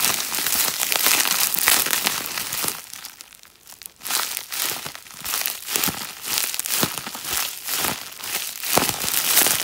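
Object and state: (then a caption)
Plastic bubble wrap being crinkled. Fingertips and a lilac-painted nail rub, press and crinkle a sheet of clear plastic bubble wrap held close to the microphone. The result is a dense, bright crinkling and crackling that dips to near quiet for about a second before returning in rhythmic swells of rustle.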